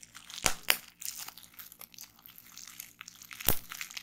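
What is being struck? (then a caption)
Plastic bubble wrap. Fingertips and long nails pinch crumpled clear plastic bubble wrap on a table, popping individual bubbles. Three sharp, bright pops stand out, two close together near the start and one later, between soft crinkling and rustling of the plastic.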